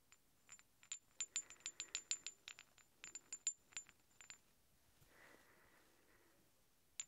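Two large, solid steel threaded hex bolts, held one in each hand, have their tips knocked and rung against each other in an irregular run of about 20 quick, bright metallic clinks with a thin, high ring that cuts off almost at once. After a pause there is a soft, brief scraping rub, then one last sharp clink at the end.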